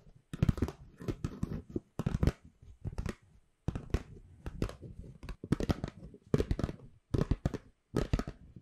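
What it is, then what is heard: Paper gift bag. A hollow white paper gift bag, held flat in both hands, is scratched and crinkled with long nails close to the mic. Dense bursts of papery crackling and scratching come in irregular clusters separated by brief pauses. The sound is soft, close and weighted toward low rustle, with little bright content.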